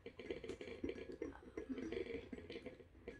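An ornate, embossed, hollow silver kiddush cup resting on its tray is tapped with the fingernails of both hands. The result is a quiet, rapid, uneven series of short clicky taps with a brief, low-mid metallic tone around 330 Hz that dies away almost at once.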